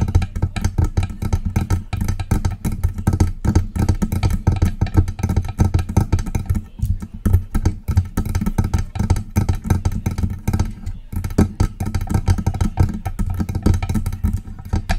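Long press-on nails tap rapidly and continuously on the lower body and base of a silver metal USB microphone. The taps sound as dense, muffled low thumps with a deep boomy tone and very short decay, with little high-end content.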